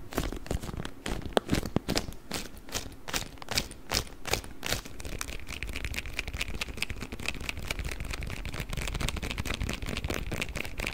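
A rolled beeswax wrap is held across the mic and squeezed and crinkled with the fingers. First come sharp, separate crackles with bright, broadband snaps. After about five seconds they blur into a denser, steady crinkling with a faint high tone running through it.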